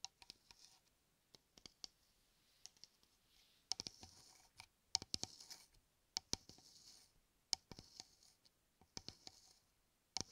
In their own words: 05:24 – 08:15 Tapping and scratching shaving cream can